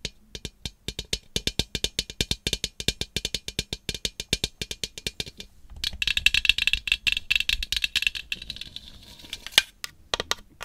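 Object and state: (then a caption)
Glass globe lamp tapped with fingernails. A large hollow iridescent glass globe lamp with bat decals, on a black base, is held in one hand and tapped with long acrylic nails. Quick, sharp, bright clicks with a faint ring near 2.7 kHz come in a steady run for about five seconds. They then blur into a denser flurry of rapid tapping and scraping before a few last separate taps.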